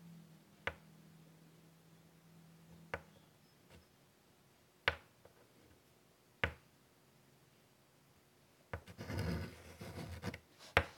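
White chalk on a large, flat, wood-framed chalkboard gives sharp, short taps spaced irregularly over quiet room tone. Near the end comes a brief burst of rough, bright scratching as the chalk draws lines, followed by one more crisp tap.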